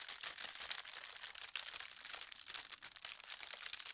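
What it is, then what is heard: Tissue paper crinkling. Fingertips with long red nails stroke, press and smooth a thin holly-print tissue paper sheet lying flat, making it crinkle. The result is a soft, steady, bright crinkling and rustling with tiny crackles, and almost no low end.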